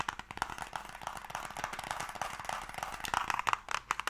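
A closed, hollow wooden Mikado box held in both hands is tapped and scratched with fingernails in quick movements. The result is a rapid, dense run of short, dry clicks and scrapes with a woody midrange tone around 1.1 kHz. Some sharper, louder taps come near the end.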